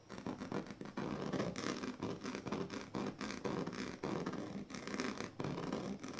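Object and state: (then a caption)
Woven plastic mat, scratched. The tail of a pink plastic comb scratches across the strips of a large, flat woven plastic sleeping mat. Rapid, dry rasping strokes come in repeated bursts with brief dips between them, forming a gritty, broadband scratching with a bright upper texture.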